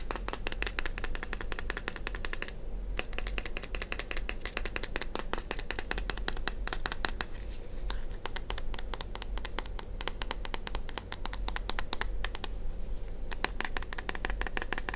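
A small, hollow, purple plastic deodorant-style bottle with a white label is held in both hands near a 3Dio microphone ear and tapped rapidly with fingertips and nails. The result is a fast, steady stream of dry, clicky plastic taps with bright edges and almost no ring, centered around 1 kHz. A constant low rumble runs underneath throughout.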